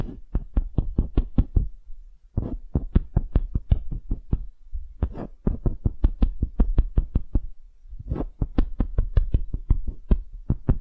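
Long nails tap and scratch a small solid wooden hemisphere in quick runs of sharp, dull, low knocks that die away almost instantly. Brief pauses carry softer scratchy brushing before each new burst of tapping, with a faint high tick above.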